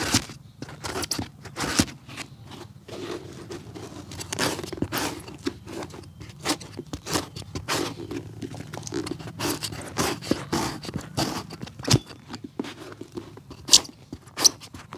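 A steel hammer with a wooden handle knocks repeatedly on the solid grey-blue rubber sole and heel of a worn shoe, held upside down on a cobbler's lap. The short, dull knocks die away almost instantly, with bright, scrapy, crunching textures between them over a steady low hum.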